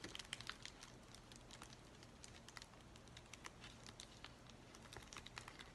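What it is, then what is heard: Plastic bubble mailer being scratched and crinkled. Fingertips and nails scratch and crinkle the bubbly surface of an empty white plastic bubble mailer. Quiet, dense crackling and sharp bright ticks come in quick, uneven bursts over a low, steady hum. Each tick dies away almost instantly.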